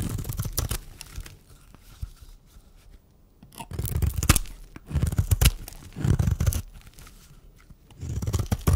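A metal blade scrapes and shaves the surface of a solid, dry white bar of soap held in the hand. Bursts of gritty, crunchy scraping with dull, low-heavy thuds alternate with quiet pauses between strokes.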